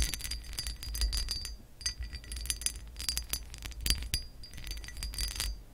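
Long acrylic nails on both hands scratch along the ridges of a hollow pressed-glass lamp base with a raised pattern. The result is a dense run of bright, glassy clicks and scrapes with a faint high ringing over a low, steady hum.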